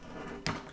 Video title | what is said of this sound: Forging Damascus steel! | I'll tap on it you can kind of hear a hollow sound